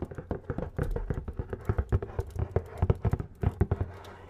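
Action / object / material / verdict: tap / cardboard box / cardboard / none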